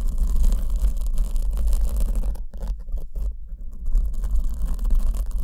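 A black foam windscreen over the left condenser microphone is scratched with long acrylic nails while the other hand holds the back of the soft, porous foam. A dense, continuous scratching rustle with a deep low rumble and a faint bright hiss is heard. It briefly drops to near silence in patches around the middle.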